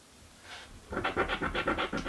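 A coin edge scratches a thin, flat cardboard crossword scratch-off lottery ticket resting on a wooden table. After a faint, soft scrape, eight quick, rough scratching strokes follow in a steady rhythm. Each stroke is a dry, papery rasp with a bright edge.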